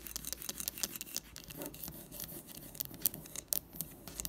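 Long nails tap quickly on a wax-filled amber glass jar candle with a paper label standing on a table. Crisp, bright clicks with very short decay alternate between the glass and the label, with soft scratchy textures in between.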